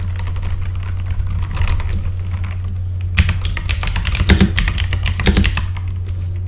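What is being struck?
Plastic mechanical keyboard.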